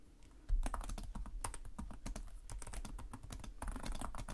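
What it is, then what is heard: Plastic laptop keyboard being typed on. Fingertips with short nails on both hands type rapidly on the plastic chiclet keys of a black laptop resting on a desk. After half a second of near silence, a dense, steady stream of short, crisp key clicks and soft low thumps follows, with each tap dying away almost instantly.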